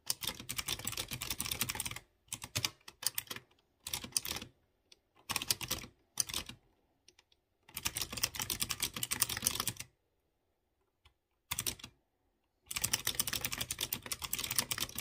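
Fingertips with short nails type on a light blue plastic mechanical keyboard with round chrome keycaps on clear-housed blue switches. Bursts of rapid, bright, sharp clicky key taps are separated by short silent pauses.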